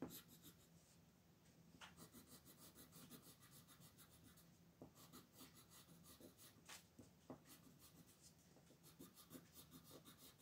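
A red colored pencil rubs and scratches across a thin sheet of white paper printed with a mandala, lying flat on a wooden table with the other hand held still on the sheet. Quiet, bright, raspy shading strokes repeat in quick runs, with a faint steady low hum underneath.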